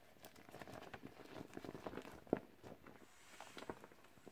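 Gloved hands squeeze and rub the surface of a teal, clear vinyl beach ball that is partly inflated and hollow with its valve visible, as it deflates. The result is a quiet run of soft, crinkly rubbing squeaks centered around 285 Hz, with one sharper, louder squeak midway through.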